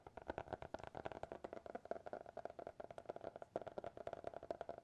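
A small, closed, solid black hardcover notebook with a TikTok logo is tapped with fingertips and nails. About 26 quick, dry, quiet taps come in an uneven rhythm, each with a short midrange knock that stops almost at once.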